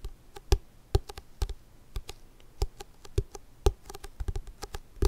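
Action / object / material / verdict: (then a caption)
tap / large paper book / paper / none. A big book is tapped slowly and irregularly, giving a series of soft, dull taps that are mostly low in pitch and die away almost instantly, with some taps louder than others.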